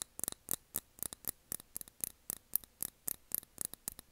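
Long nails tap the glass of a small candle jar filled with blue wax, its cork lid on. About 21 quiet, sharp, bright clicks come in uneven clusters, each dying out almost instantly.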